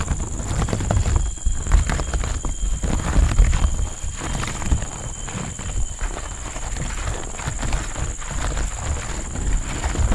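Two people's fingertips and nails tap and scratch the ribbed surface of a large, fresh green pleated palm leaf on a living plant, thin, flexible and not hollow, right next to the microphone. Dense, muffled low thumps blur together with soft clip-clop-like taps and rustly scratching at a fairly steady level. A faint, steady high tone runs underneath throughout.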